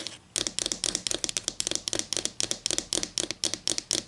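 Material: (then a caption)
Wood. Long green and black acrylic nails scratch and rub along the edge of a solid, flat wooden ruler held just above a table. After a brief quiet start, a rapid run of short, bright, scratchy strokes follows, each dying away almost instantly with little low end.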